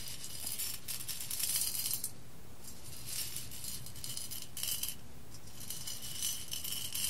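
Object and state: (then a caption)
Roasted coffee beans swept on a glass plate. A hand with long red nails sweeps and stirs loose whole roasted coffee beans across an embossed clear glass plate. Dense, bright rattling and clicking come in three bursts separated by short, quieter pauses. A steady low rumble sits underneath throughout.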